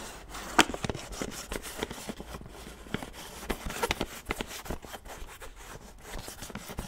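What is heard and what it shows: Fingertips and nails rub and scratch the screw lid and sides of a large white plastic supplement tub as it is turned and handled. The result is a dry, crackly stream of scratching with many sharp, short clicks and taps that stop almost instantly, over a soft rubbing hiss that reaches into bright highs.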